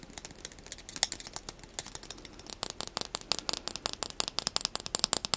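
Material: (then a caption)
Plastic. A small light-blue plastic spoon held in the fingers is tapped and scratched rapidly with the fingernails. It makes a quick, uneven run of dry, bright clicks and scratchy ticks, quieter at first and growing denser and louder toward the end. Each click is sharp and high-pitched, with almost no low end and no ring.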